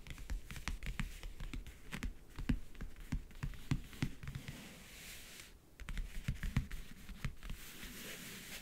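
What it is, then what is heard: Covered backgammon case tapped with fingernails. Fingernails tap rapidly on the lid and near the front edge of a closed, hollow backgammon case with a map-print covering. Quick, dull, low-pitched clicks come in dense bursts, with a brief quiet gap partway through before the tapping resumes.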